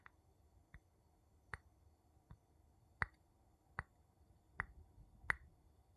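A wooden spoon taps on glass in eight short, evenly spaced, quiet taps over about six seconds. Each tap gives a brief bright click with a faint ring near 2 kHz and dies away almost at once.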